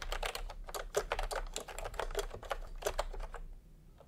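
Bare fingertips of both hands type fast on a full-size pastel plastic retro keyboard with round typewriter-style keycaps, resting on white fabric. A rapid run of sharp, clicky key presses fills most of the clip, with a low hum underneath, then thins to a few quieter taps at the end.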